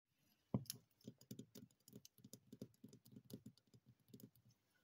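Long painted nails tap and scratch the waxy surface of a large, solid, unlit yellow wax pillar candle with a dark paper label, held in one hand. About twenty soft, dull, low taps follow one another, the first and loudest near the start, with faint bright scratchy clicks between them. Each tap dies away almost instantly, and the sound is quiet throughout.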